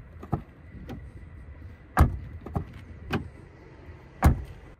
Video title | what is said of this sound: SEAT ATECA FR 4 2.0 190 KM 2023 - TEST PL 4K | the sound is solid at the back, very similar